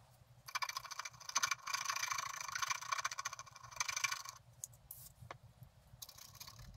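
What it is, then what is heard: Scratch-art paper card being scratched. A wooden stylus scratches off the black coating of a flat, roughly A5 scratch-art card (colored paper beneath) held flat on a table, working in short strokes to reveal a picture of a bicycle on a flowering meadow. Dense, bright, rasping scrapes come in quick bursts, with a quieter stretch of lighter, sparser scratches near the end.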